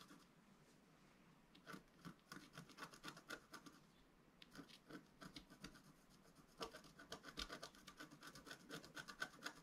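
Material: Coated paper.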